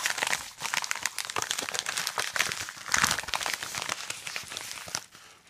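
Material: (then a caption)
Kraft paper. Gloved fingertips press, fold and crinkle a hand-sized yellow kraft-paper padded, bubble-lined mailer with contents inside, resting on a wooden desk. Dense, bright crinkling and crackling runs throughout, with a louder burst of crunching near the middle. The sound then eases and fades away at the end.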